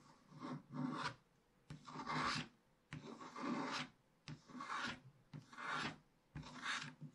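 A wooden stylus scratches the black wax coating off a scratch-art page in a spiral book, revealing the printed picture beneath. Six separate rasping strokes are heard, each a dry, gritty scrape with a broad mid-range hiss and some bright edge, separated by short quiet pauses.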